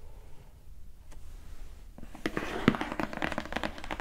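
After about two seconds of near silence with a faint tap, long nails rapidly tap along the top edge of a closed, hollow, medium-sized glossy printed cardboard Glowria "Into the Woods" gift box. The result is a quick, uneven run of sharp, dry clicks and light crinkly knocks with almost no ring.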